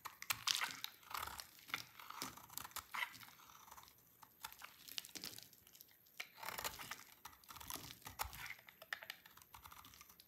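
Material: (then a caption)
Soap. A dry, solid oval soap bar, white marbled with peach and held in the hand, is cut into brittle flakes with a utility knife blade. The sound is a quiet run of fast, bright crackling and crunching scrapes that come in short bursts with small gaps between them. There is almost no low end.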